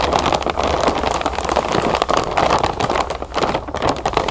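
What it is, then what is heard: Plastic bag of cereal puffs. Hands with long nails press and scratch a large clear plastic zip bag full of round puffed cereal lying on a table. A steady, dense crackle of crinkling plastic and crunching puffs fills the clip, with short sharp ticks scattered through it and the body of the sound in the mid-range.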